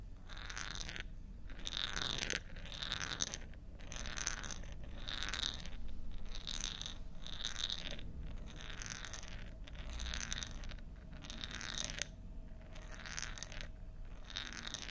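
A bead rolls inside a long, thin, hollow bamboo tube held in both hands and tilted back and forth. Each tilt makes a rattling, crunchy rolling sweep with a hollow mid-range resonance and bright ringing tones. These sweeps repeat at a steady rhythm over a faint low rumble.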